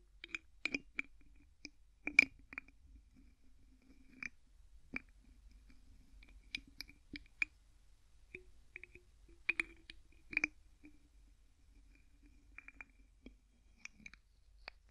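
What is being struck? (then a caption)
Plastic bottle with plastic screw cap. Fingertips twist the white plastic screw cap on an empty clear plastic bottle, producing a quiet series of short, dry ratcheting clicks. The clicks are bright and centered around 2.3 kHz, with no ring and near-silence between them.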